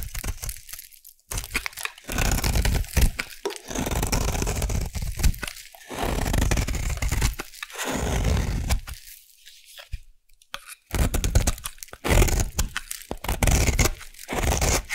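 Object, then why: Bar of soap scraped with a metal blade. A solid peach bar soap held in the hand is scraped with a metal blade, shaving it into flakes and curls. Heard are dry, crunchy tearing and crackling strokes in uneven bursts, separated by short quiet pauses.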